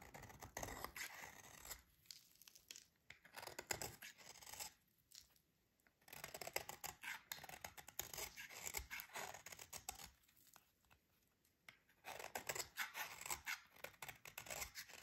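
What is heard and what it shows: A metal utility blade repeatedly scrapes thin shavings from a solid, dry, green oval soap bar held in the hands. Quick, crisp, bright scratching strokes come in bursts, with short quiet pauses between them.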